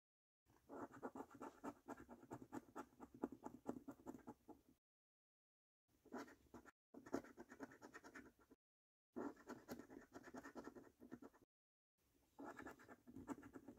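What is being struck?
Paper scratch card with latex coating, scratched with a coin.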